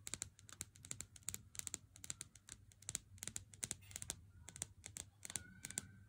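Fingertips and nails tap a Lindt chocolate bar in its cardboard sleeve held in the hand, first on the front and then along the thin side edge of the box. Around thirty-five quick, crisp, bright taps land in uneven bursts, each stopping almost instantly, over a faint low hum. The overall level is quiet.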